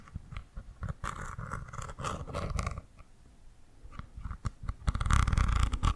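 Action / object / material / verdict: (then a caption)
tap / small plastic cosmetic cream tube / plastic / none. A small squeezable plastic tube of cream, apparently full and wrapped in a red and green watermelon-themed label, is held in one hand and tapped and scratched with long manicured nails. The result is quick, irregular taps and dull low thumps mixed with crackly scratching. The sounds grow denser and louder toward the end.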